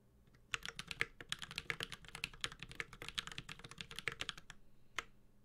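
A 65% mechanical keyboard, the Space65 Cybervoyager with a white-gold aluminum case, carbon fiber plate, plastic keycaps and tactile Holy Panda switches, is typed steadily with the fingertips of both hands. Quick, bright clacky keystrokes run in a dense, even rhythm with a short, dry ring, starting after about half a second and ending with one last isolated key press near the five-second mark.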